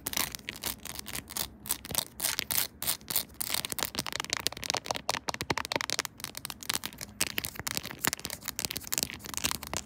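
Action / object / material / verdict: tap / plastic phone case covered in plastic buttons / plastic / none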